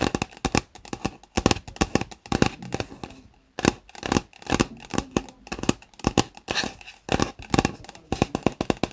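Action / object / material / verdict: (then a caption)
tap / plastic reusable cup with lid / plastic / none. Fingertips scratch and tap along the sides of a hollow white plastic Starbucks reusable cup with its lid on, standing on a desk. A rapid, irregular series of short, dry clicks and taps mixes with brief scratchy rubbing, each hit dying away almost instantly, with a short pause just after the three-second mark.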